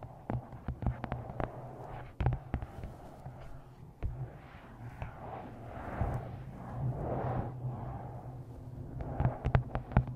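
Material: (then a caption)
Paper. Long painted nails and fingertips tap the front glossy card cover of a paperback novel held upright, its solid paper block giving a low, muffled thud. Quick dull taps come in irregular bursts with soft swishes between them, and a steady low hum sits underneath.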